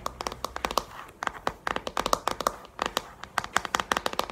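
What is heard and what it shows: Long painted nails tap rapidly on the back of a pink plastic paddle hairbrush. Quick bursts of sharp, dry, clicky taps with a hollow plastic tone and bright edges stop almost instantly, with brief pauses between flurries.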